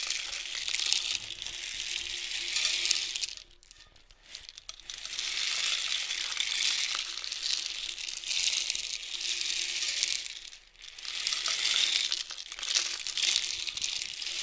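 A long, hollow painted cardboard rainstick with loose filling is turned by hand from horizontal to nearly upright, so the filling cascades inside. Each cascade makes a dense, bright, rain-like patter of tiny clicks with almost no low end, separated by brief near-silent pauses before the tube is tipped again.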